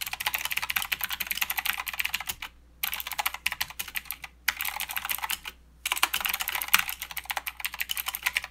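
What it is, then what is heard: Mechanical keyboard typing. Two hands type with their fingertips on a full-size Redragon K552 mechanical keyboard with blue clicky switches, plastic keycaps in white, grey and green, and a metal-framed body. Rapid, bright key clicks come in dense bursts, broken by three short pauses around 2.5, 4.4 and 5.5 seconds. Each click is sharp and dies away almost at once.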